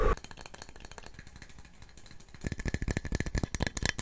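A cup is tapped rapidly in quick, dry, short taps that stay soft and steady for the first couple of seconds. Just before the halfway point the taps turn louder and more forceful, with a faint ringing tone near the top.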